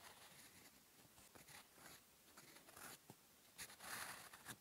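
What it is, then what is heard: Pen nib writing on paper. A gold fountain pen nib scratches across a lined cream paper notebook page while writing black ink characters. Soft, bright scratching strokes come and go in quiet bursts, growing slightly louder toward the end.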